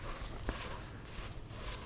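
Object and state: Nothing is struck.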